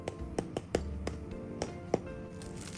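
Several short, crisp cracks ring out over a low steady background as a double-fried taro nian gao (glutinous rice cake) crackles. The sharp cracks show the fried rice cake is crispy on the outside and soft inside.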